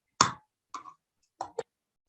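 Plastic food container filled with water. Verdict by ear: Dull.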